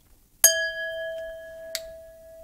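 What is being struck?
Drinking glass.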